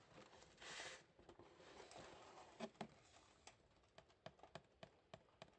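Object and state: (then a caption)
Cardboard shoe box. Green rubber-gloved fingertips patter and tap on a brown, labelled cardboard shoebox holding Vivobarefoot Drake shoes in grey, EU 42. Soft scratchy pattering and a brief brushing hiss give way to a string of sharp, dry, hollow taps. Each tap dies at once, with no ring.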